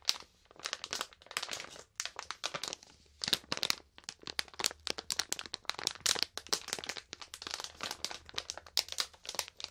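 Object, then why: Plastic snack bag. A medium printed plastic snack bag full of grape marshmallows is held in both hands and squeezed and crinkled with fingertips and long painted nails. It makes a dense run of sharp, bright crinkles and crackles with almost no low end. The bursts come in quick clusters separated by brief quiet gaps.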